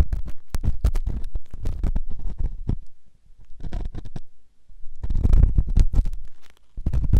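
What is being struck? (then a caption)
Silicone ear microphone scraped by a stainless steel ear pick. A flat stainless steel ear pick scrapes inside the ear of a white silicone ear-shaped microphone, giving close, boomy scratching with a deep low rumble. The rapid scrapes come in dense bursts, with two short quiet pauses before the scratching picks back up loudly.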